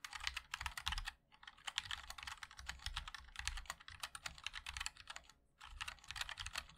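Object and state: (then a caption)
Mechanical keyboard being typed on. A MOD-L 60% mechanical keyboard with a black aluminium case, white and black ABS keycaps and linear switches is typed on continuously with the fingertips of both hands. Quick, bright, dry clacks come in dense runs, each with a soft low thud beneath, and two brief pauses break the flow.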